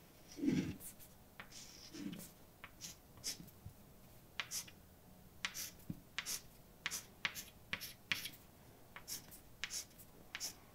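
A hand writes with white chalk on a large, dark, solid flat blackboard. About twenty short, bright, scratchy chalk strokes and taps come through, with a couple of soft, lower rubbing sounds near the start, in a quiet space.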